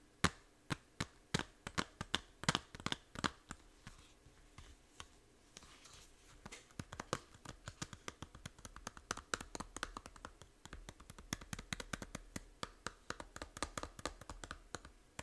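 Long nails tap a small, hollow plastic 3DS game case for Fantasy Life, first on the back and then on the front cover. The result is a quiet, steady stream of crisp, dry clicks and taps with bright edges and almost no ring, interspersed with some light scratching.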